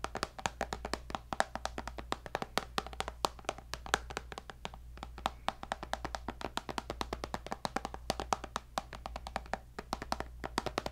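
Fingertips and nails tap rapidly and continuously on the glass screen of a tablet with a white bezel in a black case. Each tap is a short, sharp click with a very quick decay, over a steady low hum.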